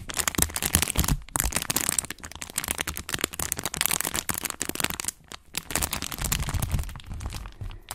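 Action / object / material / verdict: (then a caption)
scrape / thin flexible plastic sheet / plastic / none. A thin, flexible, translucent brown plastic sheet is held in both hands with purple-painted nails and crinkled, bent and scratched close to the mic. It gives dense, crackling crinkles with sharp snaps and bright hiss over a low rumble of handling. The sound is nearly continuous, with a couple of brief pauses.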